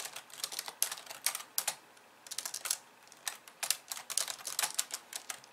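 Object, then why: Plastic computer keyboard. Long nails on both hands type fast on a pink plastic computer keyboard with white keys. Bright, sharp clicks come in quick bursts, with short quiet gaps near the two- and three-second marks. The taps have almost no low end and stop dead with no ring.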